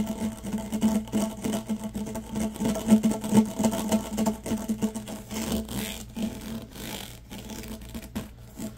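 Fingers rub and scratch along the corrugations of a yellow, ribbed, hollow plastic tube held vertically. This gives a rapid, uneven run of dry, rasping scrapes over a steady low hum centered near 215 Hz. The sound grows quieter and thinner in the second half.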